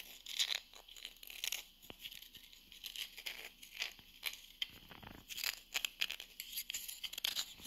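Long nails scratch and tap across the face and rim of a small, flat, solid round wooden coaster held in the hand. The result is a run of bright, dry scratching bursts and crisp taps, with almost nothing in the low end and very little ring after each stroke.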